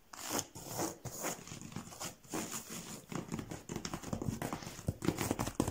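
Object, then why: Woven rush or paper-cord chair seat. Fingertips and nails tap and scratch the twisted strands of a woven rush or paper-cord chair seat stretched taut over its frame. The result is a quick run of dry, crinkly scratches mixed with soft, low thuds, with a faint bright hiss above.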